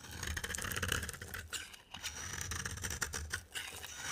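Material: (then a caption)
Soap. A box cutter blade held in the hand scrapes a dry, rectangular solid cream soap bar with a green rim. The result is a steady, crisp scraping with bright, crackly flaking, quick brief dips between strokes, and a faint low rumble underneath.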